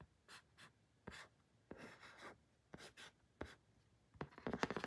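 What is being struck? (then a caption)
Small flat printed cardboard card. Fingertips and short nails rub, trace and lightly tap a small, flat, pink printed cardboard photo card, thin and solid, held in the hand. Soft, dry scratchy swishes come in separate short strokes with quiet pauses between them. The clip ends with a louder flurry of quick, crisp taps.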